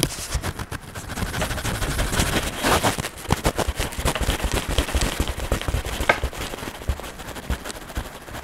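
An orange wax crayon held in a hand is rubbed and scratched across the printed page of an open paper coloring book, which lies flat on a table over a solid stack of paper pages. Rapid, dense scratchy strokes blend into a steady rasping rustle with sharp crackling ticks. Each stroke stops dead with no ring.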